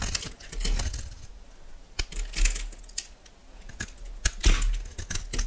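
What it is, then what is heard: Bar soap being cut. A solid yellow oval bar of soap, held in the hand, is cut into cubes and flakes with a metal knife. Quick, dry scraping and clicking cuts follow one after another in uneven bursts, with bright crisp edges over a low rumble.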